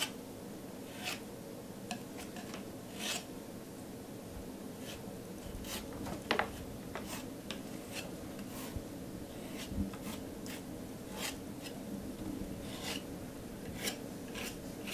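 A metal palette knife scrapes and smooths a thick layer of teal acrylic paint on a flat canvas board while the other hand holds the board steady. Quiet, steady rubbing and rasping carries throughout, broken by brief bright scraping strokes that ring only a fraction of a second.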